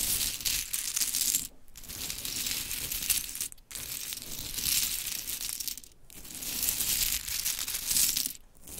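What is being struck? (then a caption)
Small wooden clothespins in a heap. Long chrome nails rake through a heap of pink wooden mini clothespins while hands gather and rub them together. A dense, bright clatter of small wooden clicks and rustles rolls on in four waves, with short quieter dips between them.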